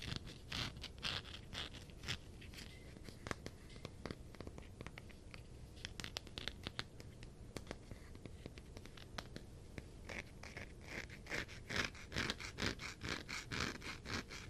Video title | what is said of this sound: Tapping and scratching on my funko pops! ASMR ~ Yeah it's mostly sonic ones. | definitely has a very different sound because of the texture